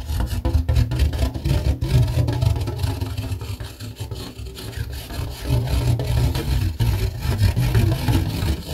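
Fingernails scratch and tap the underside of a red rigid plastic plate. A dense, continuous scratching with irregular soft taps is heard, mostly low and muffled, swelling and dipping in loudness throughout.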